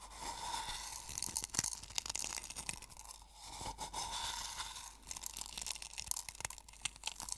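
Fingertips and nails crush and rub coarse sea salt crystals in a small wooden bowl. The result is a dense, bright crunching and crackling with sharp, quick clicks and very little low end, which swells and fades over the clip.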